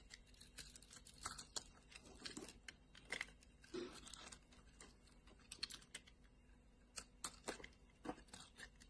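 A solid pink striped bar of soap is cut into small cubes and then scraped with a metal blade. Quiet, dry, bright crisp cracks and scratchy scraping repeat unevenly throughout, each snapping off sharply with almost no ring.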